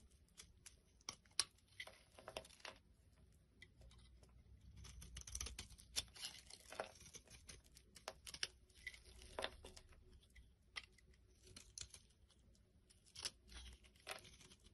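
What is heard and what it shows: A solid yellow soap bar held in the hand is carved with a small black blade, so thick flakes and chunks break away and fall onto a pile of shavings. Quiet, bright scraping and crumbling crackles come in bursts, scattered with sharp, short ticks as pieces snap off and drop.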